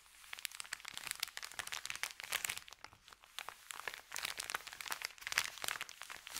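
Fingertips press and rub a thin, empty, crumpled white Subway paper bag lying flat on carpet. The result is a steady run of dense, bright crinkles and crackles with almost no low end. Each crackle is short and sharp, with small swells and dips in loudness throughout.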